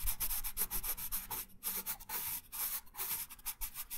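A wooden colored pencil held in the right hand rubs and scratches colour onto a thin printed paper coloring sheet lying flat on a wooden table. Quick, uneven back-and-forth strokes make a dry, bright, hissy scratching with short pauses between bursts.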